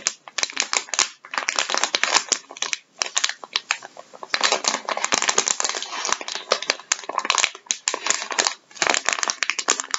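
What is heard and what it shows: Gloved fingertips press and crinkle a flexible plastic bag of vinyl gloves lying on a wooden table. The result is dense, bright, crackling rustles in quick bursts, with a few brief pauses between them and no low end.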